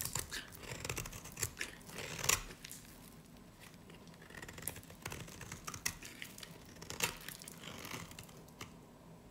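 A snap-off blade shaves a solid, pale green, dry varnished soap bar held in the hand, peeling off crumbly curls. It makes crisp, bright scraping and crackling strokes with sharp clicks and brief pauses between them.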